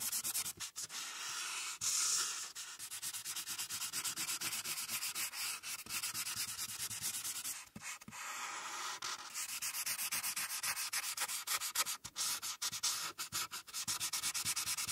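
A marker's felt tip colors a printed paper sheet resting on a clipboard, working near the top edge in continuous rubbing strokes. The sound is a bright, dry, scratchy hiss with almost no low end, steady throughout apart from brief pauses where the tip lifts. The strokes go on without stopping for the full clip.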